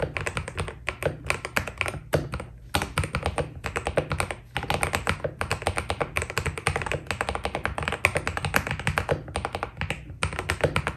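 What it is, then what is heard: Mechanical keyboard with PBT plastic keycaps. Fingertips type steadily on a white Keydous NJ80 mechanical keyboard with PBT plastic keycaps. Dense, fast runs of short, dry key clicks carry a bright top and a low thock beneath, with each press dying out almost at once. The bursts are broken by brief pauses.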